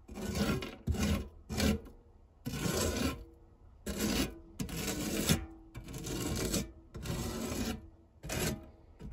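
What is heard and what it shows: A silicone spatula blade, pressed flat, is rubbed across the textured base of a non-stick metal tart tin. The result is a series of irregular, dry rasping strokes separated by short pauses, with a bright hiss over a low, dull body and no ringing afterward.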